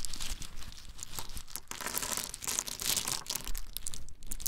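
Small, hard, brown in-shell pine nuts are rolled, shaken and poured out of cupped hands. The result is a dense, continuous rattle of bright, crisp clicks and crinkly crunching with no pauses.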